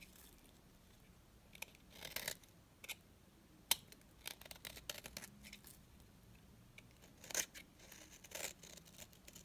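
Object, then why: Bar of soap scraped with a blade. A utility blade scrapes thin strands off the face of a small, solid, dry pink bar of soap. It makes quiet, dry, bright crackling scrapes in short bursts of varying strength, with a few sharper, louder strokes between softer shaving passes over a faint low background hum.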